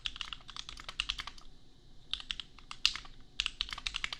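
A custom 60% mechanical keyboard with Gateron Milky Yellow switches and red and white plastic keycaps, resting on an anime desk mat, is typed on with the bare fingertips of both hands. Quick, bright plastic clacks centered around 2.9 kHz come in two runs with a short pause between them, and each keystroke dies away almost instantly.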